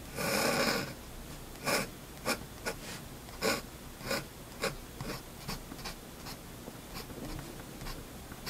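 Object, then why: Drawing paper under a steel pen nib. A steel fountain pen nib scratches across a single flat sheet of white drawing paper during ink line drawing, while a hand steadies the paper. A longer, bright scratchy stroke opens the clip, followed by a series of short, dry scrapes at irregular intervals over a quiet background.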